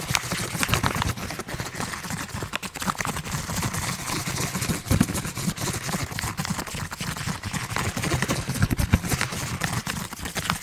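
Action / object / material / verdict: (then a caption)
scrape / plastic foil snack bag / plastic foil / none. A medium printed plastic/foil snack bag, partly filled, is held in one hand and crinkled and squeezed with the fingers. Dense, continuous crackling runs throughout, with many sharp, brief crinkles over a low rustling body and bright, crisp edges.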